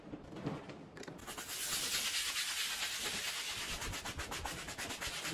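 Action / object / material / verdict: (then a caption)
scrape / wet woven textile rug scrubbed with a bristle brush / textile / none. A dark handheld bristle brush scrubs a small, dirty, fringed, patterned woven textile rug lying on a wet floor, spreading soap foam as it goes. The sound is a bright, wet, rasping scrub that starts quietly, then settles into a steady stream of rough, rhythmic brushing strokes.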